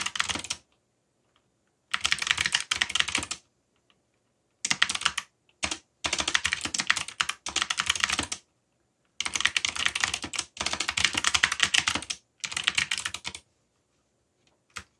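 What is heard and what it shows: Fingertips, one of them bandaged, type rapidly on a backlit mechanical computer keyboard with black plastic keycaps bearing Korean and English legends, its hollow keys clacking on their switches. Dense, bright, short-lived key clicks arrive in several bursts of typing separated by brief silent pauses, ending with a single isolated tap.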